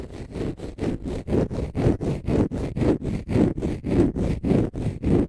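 Fingernails scratch a palm-sized, pale green konjac fiber facial sponge, solid and porous. About 17 rhythmic, low, rough scraping strokes are heard, each a short grainy rasp with its energy mostly in the low and low-mid range.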